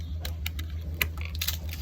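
Freshly fried, layered crispy sweet roti is handled or broken, giving a series of sharp, bright crackling clicks over a steady low hum. The crackle shows the roti is very crispy.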